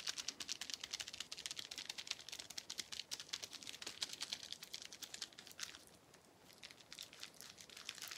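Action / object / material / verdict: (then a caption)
tap / plastic bubble wrap sheet / plastic / none. A small clear plastic bubble wrap sheet with air-filled bubbles is held in both hands and tapped and crinkled with fingertips. The result is a rapid, dense patter of short, crisp clicks and crackles, almost all bright and high with almost no low end. The sound softens briefly around the six-second mark before picking up again.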